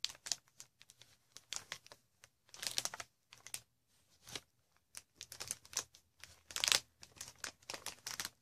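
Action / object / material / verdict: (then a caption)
scrape / plastic air cushion wrap / plastic / none. Long red nails scratch and tap across the inflated cells of a green plastic air-pillow packaging sheet. Quiet, bright crinkling scratches and soft taps come in short, irregular bursts with brief pauses between them. Each sound is dry and stops quickly, with almost no low end.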